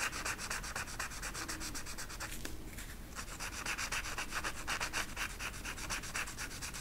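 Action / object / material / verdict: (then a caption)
scrape / marker tip on flocked velvet poster / velvet flocking / none. An orange marker tip is rubbed repeatedly in short strokes over a flat flocked-velvet peacock art poster, with the hand holding the marker and the other fingertips resting on the sheet's edge. The result is a soft, steady, brushy scratching with a bright hiss, pulsing about four strokes per second, with a brief lull just before the three-second mark.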